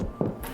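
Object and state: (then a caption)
Baked-through sourdough loaf (hollow knock). Two short knocks on the bottom of a freshly baked country white sourdough loaf give a low, hollow thud centered around 200 Hz that fades quickly. The hollow sound shows the loaf is baked through; a dull knock would mean it is undercooked with a gummy interior.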